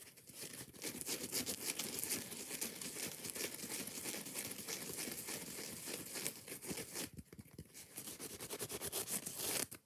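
Fingers and nails scratch fast and hard at the green scouring pad of a foam kitchen sponge held close. The result is a dense, bright, crackling rasp of rapid strokes with little low end, briefly thinning out around seven seconds and again at the very end.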